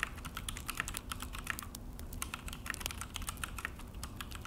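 Both hands type fast with their fingertips on a full-size Akko mechanical keyboard with an orange plastic case and black plastic HyperX keycaps, resting on a desk. A dense, steady stream of short, sharp plastic clicks and clacks comes through, each with a bright tick near 1.8 kHz, over a low background rumble, with every key press dying away almost instantly.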